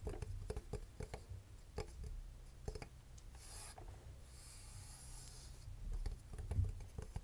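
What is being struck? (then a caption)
Metal alarm clock case. Fingernails rapidly tap and scratch on the metal case and front of a small, hollow vintage twin-bell alarm clock held up close. Quick, light clicks and dry rasping scrapes follow one another, with brief hissy scratching passages in between. The sound is soft and close, with a low hollow body under the taps.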